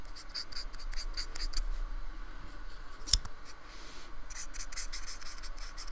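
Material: Polystyrene foam.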